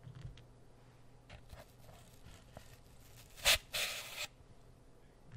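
Fingertips rub and scratch the top surface of a brick-sized, solid, porous grey floral foam block held beside the mic. Faint, soft, airy rubbing gives way to two distinct bright, hissing scratches: a short sharp one followed by a longer, louder rasp of about half a second, before it fades back to quiet rustling.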